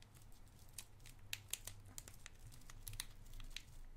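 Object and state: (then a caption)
Cellophane candy wrapper being crinkled. A small, clear cellophane wrapper, partly opened around a white round candy, is crinkled with the fingertips. Quiet, sharp, bright crackles and snaps come in irregular bursts over a steady low hum, each dying away almost instantly.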